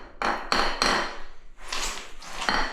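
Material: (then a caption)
Ceramic. A hammer taps across old ceramic floor tiles in a series of sharp, ringing knocks with a bright midrange tone and short decay. The tiles sound solid rather than drummy, so they're judged sound and fine to leave in place.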